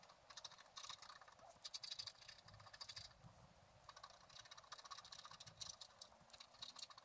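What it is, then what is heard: Scratch art paper being scratched. A wooden stylus held in the fingers scratches lines into the coating of a thin, solid, flat black-coated scratch art card, a book page lying on a table. Quiet, bright, dry scratching strokes come in quick bursts separated by short pauses, with each stroke stopping abruptly.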